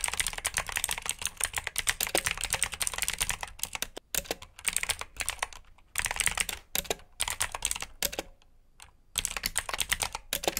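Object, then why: Plastic mechanical keyboard. Fingertips type on a black plastic backlit mechanical keyboard with blue switches, producing rapid, bright clicky keystrokes in bursts separated by short pauses. The clacks are sharp and dry, with little low end and almost no ring.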